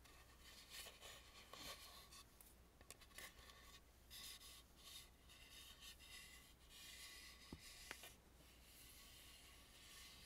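Fingertips and long nails rub and scratch along the carved gold crown edge of a hollow, carved and painted wooden mask with a gilded crown and sides. The sound is a quiet, steady, bright scratchy rasp with small swells, and a few sharp ticks stand out near the end.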